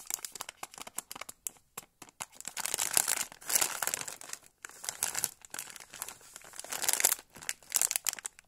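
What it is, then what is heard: Crinkled foil-lined plastic snack bag. Fingertips squeeze and rub a small sealed orange foil-lined plastic pouch of "Lucky" mini date cookies, full and soft-filled, held in both hands. Bright, dry crinkling and crackling comes in rapid bursts with short pauses, almost all in the high range with no low end. Each crackle stops instantly with no ring.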